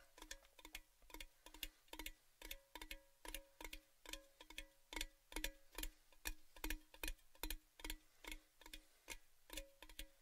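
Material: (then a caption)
Metal. Fingertips tap the body of a tall, hollow, orange-painted metal Baileys gift tin tube held with its open end toward the mics. A steady run of quick, ticking hollow taps follows, each a short clicky attack with a brief pitched, tubular ring that dies away fast.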